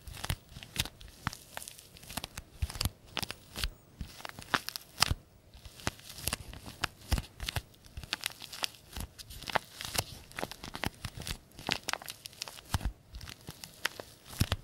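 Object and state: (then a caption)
Paper tea bag envelope being crinkled. A small, green-printed paper tea bag sachet, flattened and folded, is rubbed and crinkled with the fingertips of both hands. It makes a steady stream of dry, crisp crinkles and short tearing-like crackles with bright, high edges and a soft low rustle underneath. Each sound stops instantly with no ring.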